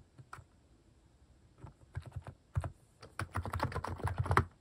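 Fingertips type on a full-size white-case plastic mechanical keyboard with pastel plastic cat-face keycaps resting on a desk. Soft, low-pitched clacks come in brief sparse taps at first, then build into a quicker, denser run of keystrokes toward the end.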